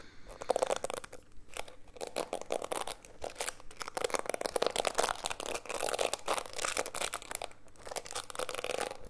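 Fingertips and nails scratch and rub across the dense plastic bristles of a small, solid, handheld black plastic detangling hairbrush held close to the mic. The result is a steady run of dry, crackly scratching and rasping bursts with a bright edge and no ringing between strokes.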